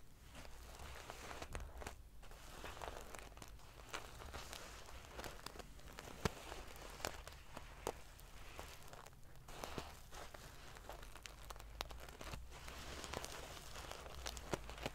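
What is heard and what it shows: Long painted fingernails scratch and ruffle a large decorative pillow covered in rows of small silver metal sequins sewn onto fabric. The result is a steady, dense crinkling and scraping texture with bright, prickly metallic ticks and occasional sharper clicks over a low constant hum.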